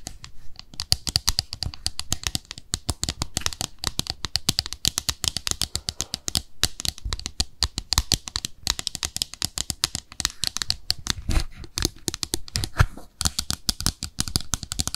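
Long nails rapidly tap and scratch along the rim and base of a small white glossy ceramic soap dish that is hollow underneath. Dense, sharp clicks and dry scraping fill the clip, with bright, crisp tops and a low, hollow knock under many of the taps. Each tap dies away almost at once.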